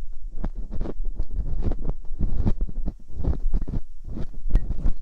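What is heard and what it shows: Metal dental picks scratch deep inside both ear canals of silicone binaural microphone ears, giving dense, low rumbling scrapes and thuds with brief bright scratchy edges. The strokes come in quick, closely spaced bursts throughout.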